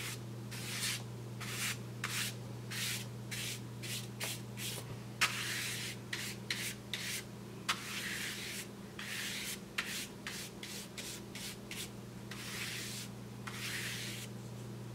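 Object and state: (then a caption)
Kraft paper bag being brushed. A paintbrush brushes and rubs the surface of a large, flat brown kraft paper bag held with fingers. It makes a quick series of bright, airy, sanding-like swishes, some short and some drawn out. A steady low hum runs underneath throughout.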